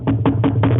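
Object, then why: Wooden surface. Someone knocks on a wooden surface for luck, hoping their group bookings keep running without problems. Four quick, dull, hollow knocks with mostly low energy sit over a steady low hum, and a brief bright click comes at the very end.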